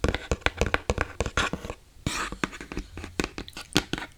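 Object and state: Hollow empty box.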